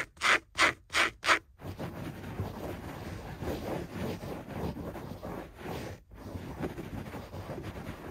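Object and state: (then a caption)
Carpet scratched. Fingertips and nails rub and scratch fast and aggressively across a beige floor carpet with dense pile. Four sharp, bright scratching strokes open the clip, followed by a continuous, softer rustling scrub with a brief pause near the end.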